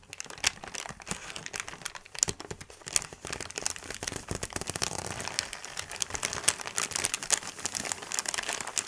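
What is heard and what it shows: A large, thin white paper sheet is scrunched and crumpled with both hands on a table. It makes a dense, continuous crackling of sharp, bright crinkles with almost no low end, swelling and easing as the sheet is worked.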